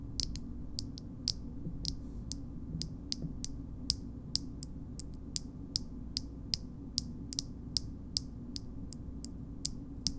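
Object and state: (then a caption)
Metal cosmetic jar lid. Long nails tap and scratch the shiny gold metal lid of a small cosmetic jar, producing a slow, steady series of about 28 sharp, bright clicks. Each click dies away almost instantly over a low, steady background hum.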